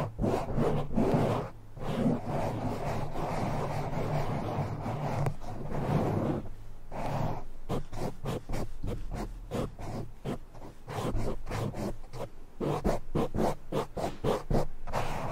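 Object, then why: Foam microphone windscreen. Short nails on both hands scratch and rub the sides of a black foam windscreen on a silver microphone. The result is fast, irregular, dense scratching and rubbing with a heavy low-end rumble and little high-frequency content.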